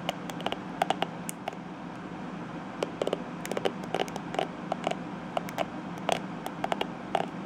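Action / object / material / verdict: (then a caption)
flick / plastic hairbrush bristles / plastic / none. Long-nailed fingertips rub and flick the tips of the dense purple plastic bristles on a plastic detangling hairbrush. The result is a scattered series of sharp, dry plastic clicks and ticks, each with a brief mid-pitched ring and a bright edge. They sit over a steady low background hum.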